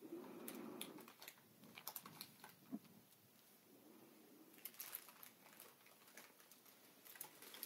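A single fingertip and nail tap and scratch clear, inflated plastic air cushion packaging, hollow and air-filled, lying flat on a table. Quiet, irregular light taps mix with dry, bright scratching and crinkly rustles, with a soft low hollow tone early on. Each tap dies away almost at once.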